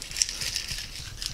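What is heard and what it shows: A jar of soil and water from a sandy spot is shaken, giving a steady, bright, high-pitched rattling crackle of grit against the glass. The rattle shows this sample holds a lot more gravel than the clay sample.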